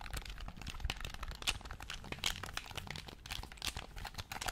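A black, hollow, hand-sized plastic Nintendo Switch Pro-style game controller is held in both hands close to the mic and quickly tapped and scratched across its shell and buttons with pink-painted fingernails. The result is a dense, continuous stream of crisp, bright clicks and scratchy, crinkly rustling, with each tap dying away almost instantly over a faint low rumble.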